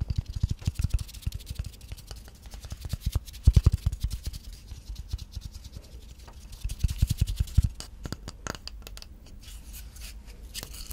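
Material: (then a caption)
Wood. Long nails scratch and tap across the flat face and bark edge of a solid, plate-sized round slice of tree trunk. Dense runs of quick, dry taps with a low, thumpy body alternate with softer scratchy rasping. Each tap dies away almost instantly, with louder bursts near the start, middle and around seven seconds.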